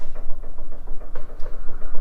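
A worn steel sway bar link is shaken by hand at its small ball joints, and the play in the joint gives short, dull, low-pitched clunks. A clear double knock comes about halfway through, and the link is worn out and needs replacing.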